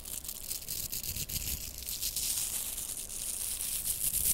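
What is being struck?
Plastic velcro hair rollers.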